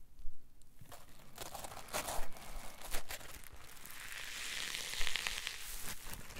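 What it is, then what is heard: Polyethylene foam block being crushed. A solid green polyethylene foam block is crushed in the hands, shown, then squeezed again. Dry crinkling, tearing-like rustles and crackles come in irregular bursts over a low rumble, growing into a denser, brighter crackle toward the end.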